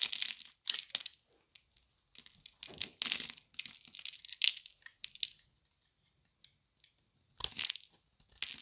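A solid, dry green Palmolive bar soap held in the hand is carved and scraped at its edge with a thin metal blade, with shavings falling away. Crisp, bright scraping and crunching strokes come in irregular bursts with short pauses between them, almost entirely high-pitched with no low end.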